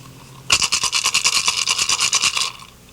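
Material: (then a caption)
Turtle shell. A turtle shell rattle, with more small pebbles added and its mouth held closed, is shaken in a quick run of pulses lasting about two seconds. It produces a bright, dry, high-pitched rattling with no low end. With the amount of pebbles, it now sounds about right.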